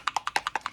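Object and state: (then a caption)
Paint bottle with a freely moving mixing ball. A bottle of Frost White shimmer paint is shaken, and the little mixing ball inside rattles in eight quick, bright clicks that alternate slightly in pitch, each dying away almost at once. The free rattle shows the ball is moving loosely and the paint is being mixed.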